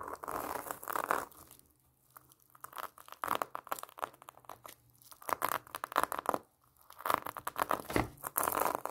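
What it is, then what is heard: Pomelo in plastic mesh net. Long nails scratch across the orange plastic mesh net and rind of a large, solid pomelo tied with a red ribbon. Bursts of dry, crinkly scratching with bright edges come in several waves, each separated by brief near-silent pauses.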